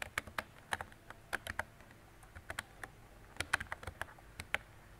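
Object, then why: Plastic mechanical keyboard. Fingertips with long decorated nails type on a mint-green retro mechanical keyboard with round plastic keycaps and a hollow body. About 18 sharp, bright plastic clacks come in irregular bursts, each dying away almost instantly with a light hollow tone.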